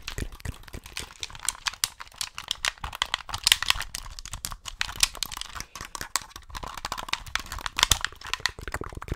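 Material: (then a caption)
Plastic. A hollow white plastic Xbox gamepad, held in both hands close to the mic, is tapped and clicked with the fingertips on its buttons and triggers. The result is a rapid, continuous run of short, bright plastic clicks and taps with almost no ring, varying in loudness throughout.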